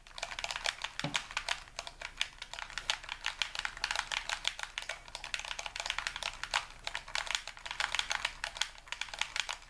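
A hollow, hand-sized white plastic game controller, held in both hands above a wooden table, has its buttons and triggers rapidly clicked and pressed with the fingertips and thumbs. The result is a dense, continuous stream of short, dry, bright plastic clicks and taps centered around 3.3 kHz, with one brief low thump just after the first second.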